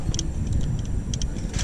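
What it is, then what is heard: Loose, worn rocker arm. A loose, worn steel rocker arm on the right intake camshaft of a 2014 Grand Cherokee 3.6 L engine, with the right valve cover off, is shaken by hand and makes sharp, light rattling clicks over a steady low hum. The rocker is definitely bad: the camshaft lobe looks shaved off, and all the rockers on the right bank were replaced.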